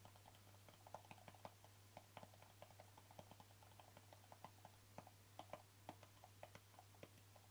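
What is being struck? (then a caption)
Small plastic jar with lid. Fingertips and nails tap the lid top and rim of a small, hollow white plastic jar with a green label, making about seventeen quick, dry, hollow clicks with a tone near 850 Hz and some bright tick. The taps are light and die away almost instantly over a steady low hum.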